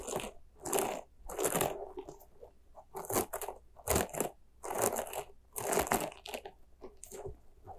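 A small white soft rubber spiky ghost squishy toy is squeezed and stretched with fingers and scratched with nails. The result is a run of crunchy, crackling squishes and squeaks in uneven bursts, with bright scratchy edges over a low, steady hum.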